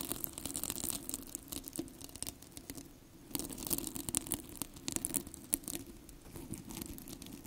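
Fingertips and long nails scratch and rub the plastic hook-and-loop surface of two identical yellow hollow cylindrical velcro hair rollers, held one in each hand close to the microphone. The result is a dense, bright, crackling rasp of rapid scratchy ticks over a steady low hum, easing into a quieter stretch around the three-second mark before picking back up.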